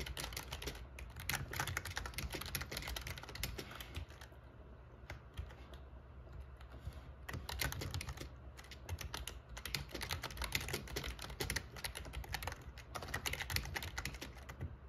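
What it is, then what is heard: Plastic membrane keyboard being typed on. Fingertips type on the black plastic keycaps of a plastic membrane RGB gaming keyboard with a metal plate, making a steady stream of short, bright click-clacks over a constant low hum. The typing thins to sparse taps for a few seconds in the middle, then picks back up into a fast, dense run.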